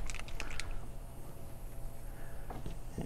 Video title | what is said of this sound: AirCobra Airbrush by Mig Jimenez -- Out of the Box Review | this has a little stirring ball in there so you can hear that rattle around